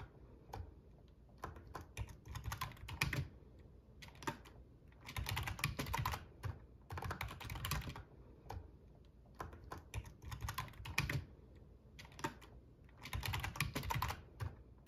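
Fingertips of both hands type on a full-size black plastic membrane RGB gaming keyboard with a metal top plate, producing bursts of quick, soft clacking keystrokes. The bursts are separated by short pauses, and each tap has a low thump and a brief bright click that fades almost instantly.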